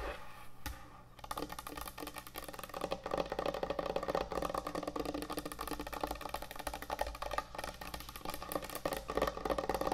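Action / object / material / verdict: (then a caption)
tap / thick end-grain hardwood cutting board / hardwood / none. Long nails tap and scratch quickly across the top of a large, thick, solid end-grain hardwood butcher block cutting board. After a quieter first second, a dense, steady stream of dry, woody clicks and knocks sets in, with short-lived taps centered in the midrange and faint scratchy texture. The taps blur into a continuous rapid patter for the rest of the clip.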